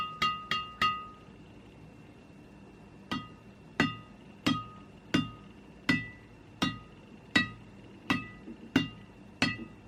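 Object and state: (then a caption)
Freshly strung badminton racket with a crisp, ringing string bed. A freshly installed HNDRD (Hundred) synthetic hybrid badminton string, an inexpensive string costing around 50 thousand rupiah, is tapped on the racket's string bed. Thirteen sharp, crisp pings are heard: a quick cluster of three, a pause, then ten more at a steady pace, each with a short bright ring pitched near 1.9 kHz. The string sounds loud and ringing, and the result is not disappointing.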